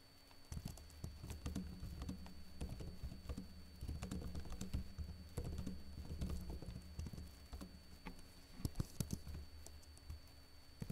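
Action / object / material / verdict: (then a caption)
tap / plastic laptop keyboard / plastic / none. Fingertips with short blue-painted nails type rapidly and lightly on a backlit plastic laptop keyboard with hollow keycaps, producing quick, soft, dry clicks and patters. The taps sit over a steady low hum and faint high steady tones, swelling into denser bursts before easing off.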